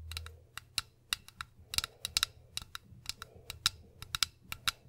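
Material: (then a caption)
Glass. Long pink acrylic nails tap a hollow, medium cobalt-blue glass bottle held up beside a microphone, and the bottle is tilted at the end. Nineteen quick, sharp, bright clicks come in an uneven rhythm, each dying away almost instantly with only a faint high ring.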